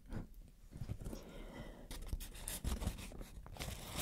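A soft, thin, hollow white plastic shower cap with a green print is held in both hands and crinkled and scratched with long dark nails. The sound is a steady rustling crinkle with sharper scratchy bursts that flare bright, over a low, dull handling rumble.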